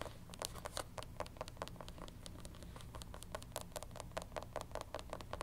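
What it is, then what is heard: Canvas sneaker with rubber platform sole. A black canvas platform sneaker with a thick white rubber sole is held in the hands and tapped and scratched with long pink nails on the sole edge and canvas upper. Rapid, sharp, dry clicks with bright, high tops sound over a steady low hum. Softer scratchy rustles fill the gaps between taps.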